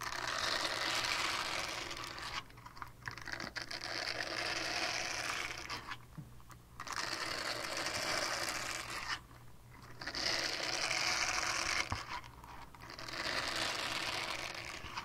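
A small, flat, solid purple silicone scrubber pad is held close to the mic and rapidly scratched with long painted nails. The result is a dense, bright, crackly scratching texture that comes in sustained bursts. Several short pauses break it up, the longest near the middle.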